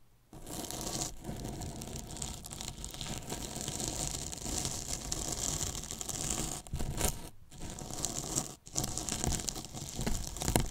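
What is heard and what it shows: Two thin paintbrushes scratch and brush along the top edge of a large, hollow white polyethylene foam box with a microphone inside. The result is a steady, dense scratching hiss, bright up high with a heavy low, boomy body from the box. It has brief drops in the strokes at about 7.4 and 8.6 seconds before the brushing resumes.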